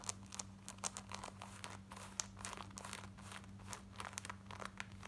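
Long nails scratch quickly across the front, waistband and button area of worn black denim jeans. Dense bursts of dry, bright scratching and crinkling sit over a steady low hum. Each stroke is short and leaves no ring.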